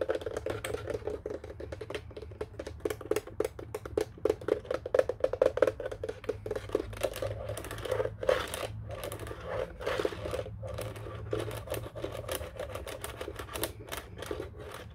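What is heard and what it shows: Fingertips and nails tap the keypad buttons of a black plastic office telephone in a quick, uneven stream of short, dry clicks. The clicks have a hollow mid-range tone and stop almost at once. A low steady hum runs underneath throughout.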